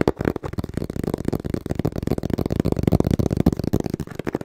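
Fingertips tap quickly on the printed face of a small, hollow brown cardboard box held upright in both hands. The taps come as a dense run of dull, low, hollow thuds with almost no bright edge, each dying away at once.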